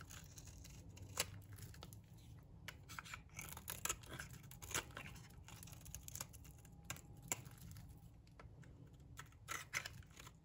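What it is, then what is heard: Dry bar soap being shaved. A metal blade shaves long curls off a solid, dry green bar of soap. Crisp, bright scraping and crackling come in uneven strokes with sharp, short snaps, over a steady low hum.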